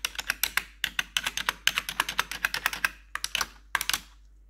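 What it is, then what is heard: Plastic computer keyboard. A single metal nail tip taps rapidly across the keys in the numpad and arrow area of a black plastic RGB computer keyboard. About 28 sharp, bright plastic clicks come in quick bursts with brief pauses, each dying away almost instantly. The run ends with a faint quiet tail.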